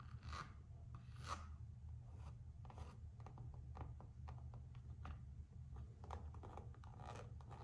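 Long acrylic nails scratch and rub the floral-print coated canvas strap of a single Gucci slide sandal held in hand, just above the rubber footbed. Quiet, raspy filing strokes repeat throughout, flaring around 1 kHz over a steady low hum.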